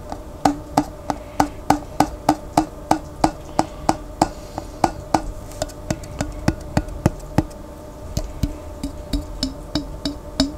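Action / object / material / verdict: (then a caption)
tap / glass jar with plastic lid, partly water-filled / plastic, glass / none. Fingertips rapidly tap the white plastic lid of a large clear glass Vlasic pickle jar, partly filled with water and held on its side, at roughly three taps per second. Each tap is a short, dry, woody click with a faint hollow tone around 780 Hz that dies away almost instantly, over a soft steady hiss.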